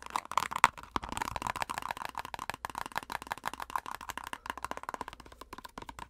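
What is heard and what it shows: A plastic cosmetic squeeze tube is tapped rapidly on its front and edge with long acrylic nails. The result is a quick, uneven run of dry, hollow clicks with almost no ring, centred around 1 kHz with some bright edges, and the loudest taps come near the start.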